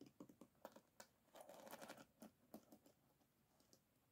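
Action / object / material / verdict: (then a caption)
tap / bamboo paddle hairbrush with wooden pins in a rubber cushion / bamboo, wood / none. Long nails tap and scratch along the wooden pins of an oval bamboo paddle hairbrush, its pins set in a rubber cushion, as it lies flat on a table. Quiet, irregular woody clicks with a dense scratchy rustle in the middle, each tap dying away almost instantly.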